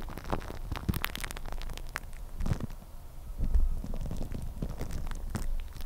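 Thin clear plastic cling film wrapped around the head of a microphone is scratched and crinkled with long red-painted nails. The result is a dense, close, muffled crackling and rustling, heavy in low rumble, with sharp crisp ticks scattered throughout and a louder swell of crinkling midway.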